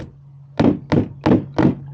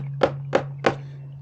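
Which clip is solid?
The second.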